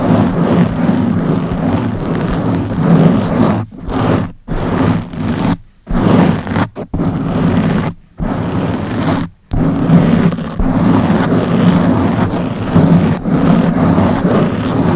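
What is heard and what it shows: Long blue-painted nails on both hands scratch a round black foam windscreen covering the head of a Blue Yeti microphone. The result is a dense, continuous scratching rumble that is heavy in the low end and muffled up top, broken by a few brief silent pauses when the nails lift off.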